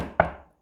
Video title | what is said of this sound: Grade 5 Metals and non metals lesson 1 | if I knock it it's rigid it's hard